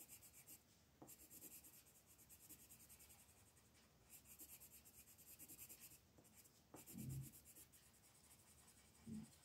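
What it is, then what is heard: Colored pencil shading on a paper coloring page. A blue colored pencil shades a small ghost on a flat paper coloring book page with short rubbing strokes. The quiet, dry scratching comes in uneven bursts, with a few brief, louder scrapes standing out.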